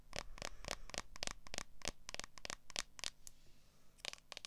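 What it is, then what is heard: Smartphone in clear plastic case. Long acrylic nails rapidly tap and scratch the back of a smartphone in a clear plastic case held up in the hand. The sound is a quick, irregular run of sharp, dry clicks with bright high edges and scratchy drags between them, each tap dying away almost at once.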